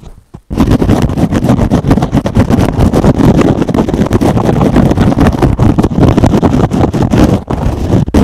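A hand-sized, soft, porous rectangular kitchen sponge with a teal wavy foam layer and a green scouring pad is held in one hand and scratched fast with the fingernails of the other. After a brief quiet moment, a dense, rough, continuous scratching starts and runs steadily for about eight seconds. The sound is mostly low-pitched and rumbly, with rapid fluttering texture and little brightness.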